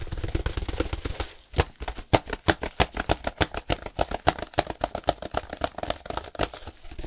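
Gloved fingertips scratch and tap a solid compressed hay block in clear plastic wrap with a label, turning the block as they go. A dense, low, rubbing scratch gives way after a brief pause to a fast run of sharp, dry taps and crinkly clicks.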